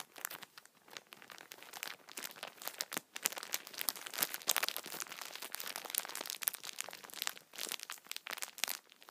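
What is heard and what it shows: Fingertips scratch the top of a plastic-wrapped multipack of tissue packets, then hands squeeze the pack, crinkling the plastic film. Dense, bright crackles and crinkles fill the sound continuously, with almost no low end and no ringing after each crackle.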